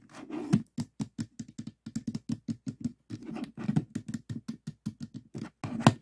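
Fingertips tap on the top edge pieces of a small stickerless plastic 3x3 Rubik's cube with a hollow mechanism, resting on a table. The result is a fast run of dull, hollow clicks centered low around 220 Hz, each dying away almost instantly. A few brief bursts of rapid rattling taps break up the steady rhythm.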